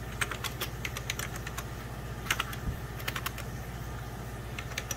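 Fingertips and short nails rapidly press the beige plastic keys of a full-size 90s Packard Bell keyboard with a hollow plastic case. The result is a fast, uneven run of sharp, bright clicks that die away almost instantly, over a steady low hum.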